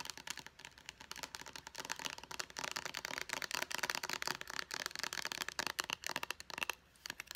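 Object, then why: Hard plastic pump bottle. Long painted nails tap fast on a small white Clean & Clear face wash bottle with a purple pump, made of hollow hard plastic. The result is a dense, rapid run of sharp, bright clicks with almost no low end and no ring, pausing briefly near the end before a few more taps.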